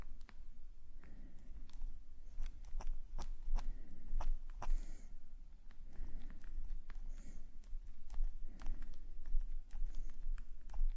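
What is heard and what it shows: A metal calligraphy nib scratches small ink strokes across the page of an open black paper sketchbook. Short, sharp scratching ticks and brief bright scrapes come in quick irregular bursts. A steady low rumble sits underneath throughout.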